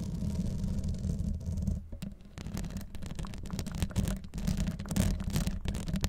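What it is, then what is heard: Metal mesh microphone grille. Long acrylic nails scratch and tap the hollow, fist-sized metal wire-mesh grille on top of a rhinestone-covered Blue Yeti microphone, the same mic doing the recording. A dense, boomy low rumble and a hum near 90 Hz run throughout, broken by rapid scratchy crackles and soft taps. The sound dips briefly around two seconds, then the scratching picks back up.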